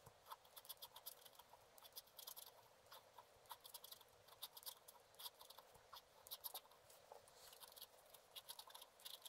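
A wooden stylus scratches across the top area of a black-coated scratch art card lying flat. Quiet, dry, bright scraping strokes come in quick irregular bursts with almost no low end and no ring between them.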